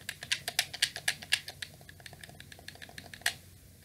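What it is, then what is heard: Plastic game controller buttons. Fingers repeatedly press the shoulder and face buttons of a black, hollow plastic PlayStation 2 controller held up close. Sharp, bright plastic clicks come in an uneven rapid series with almost no ring, loud for the first second and a half, then softer. One last loud click stands out near the end.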